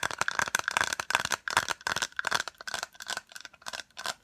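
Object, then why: Small hollow plastic case. Long acrylic nails and fingertips tap quickly on a small white hollow plastic case. They make a rapid, uneven run of dry, bright clicks and rattling taps, about 14 bursts in just over four seconds. A faint hollow tone sits around 1 kHz under the clicks, and each tap dies away almost instantly.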